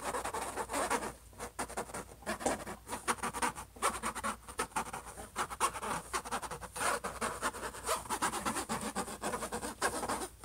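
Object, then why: Closed laptop lid. Fingertips and short nails of both hands rub and scratch across the closed lid of a silver HP laptop. It makes a dense, rapid run of dry, papery scratches with quick rustling strokes, centered in the midrange, with little low end and a faint steady high hiss underneath.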